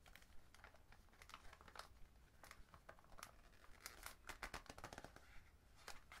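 A Market O Creamy chocolate box of printed cardboard with a clear plastic window, full of wrapped chocolates, is held in both hands while fingertips rub and crinkle the box and the window. Soft, crisp crinkles and scratchy ticks come in quick uneven bursts over a low, steady rumble, with bright crackling peaking a little past the middle of the clip.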